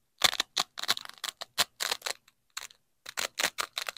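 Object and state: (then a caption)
Hook-and-loop fastener being ripped apart. A wide yellow nylon hook strip is pressed against and peeled from a black nylon loop strip by hands in shiny black gloves. Short bursts of crisp, bright crackling rips come in quick runs separated by brief silences.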